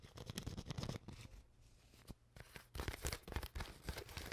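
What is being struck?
Plastic water bottle.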